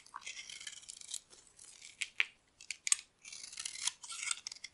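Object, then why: Soap bar carved with a metal blade. A metal blade carves and scrapes flakes off a solid oval, cream-colored bar of dry soap held in the hand. The sound is dry, crisp, high-pitched scraping that comes in bursts separated by brief pauses, with a few sharper cracks as flakes break away.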